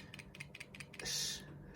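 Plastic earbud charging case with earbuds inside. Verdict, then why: Loose. A plastic replica AirPods Pro charging case is shaken with the earbuds inside, giving a quick series of light, bright clicks followed by a longer, louder rattle as the loose earbuds knock around. The rattling marks the replica as faulty, since the original case makes no sound when shaken.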